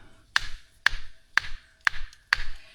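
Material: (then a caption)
Rock. Five sharp taps on a cave rock face, each a short bright ping around 1.8 kHz over a low thud, at a spot chosen for a first bolt. The rock here sounds solid, much better than an earlier spot that sounded hollow.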